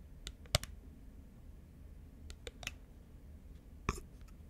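A small, round, thin, hollow clear plastic lid, held in both hands, is tapped with long nails. Sparse, sharp, dry clicks ring bright and die away almost instantly. Between the taps there is a quiet, steady low background hum.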